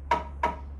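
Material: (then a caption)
Wood. A wooden didgeridoo, made from a gum tree hollowed out by termites, is knocked three times to show it is hollow, the way makers knock on a tree to check. Each knock gives a short, hollow, woody tone ringing around 950 Hz that fades within about a tenth of a second, and the last knock is cut off at the end. A steady low hum runs underneath, and the didgeridoo sounds hollow.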